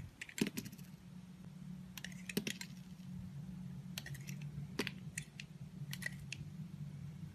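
A utility knife blade shaves thin layers off a solid green oval soap bar held in the hand. Short, crisp, bright scraping strokes come in quick clusters over a steady low hum.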